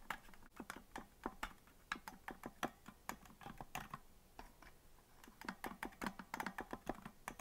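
Fingers tap the white plastic keys of a green plastic melodica that is hollow and not blown, giving a quick run of short, dry clicks. The clicks come in an uneven typing-like rhythm with a slight hollow body around the low-mid range and brief bright edges, each fading almost at once.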